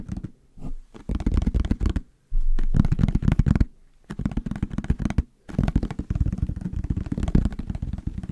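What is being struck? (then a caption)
Plastic bottle. A hollow yellow plastic bottle with a white cap is held in the hands and scratched and tapped with fingernails. Bursts of quick, dense, dull, low-heavy tapping and scratching come in clusters, separated by short quiet pauses.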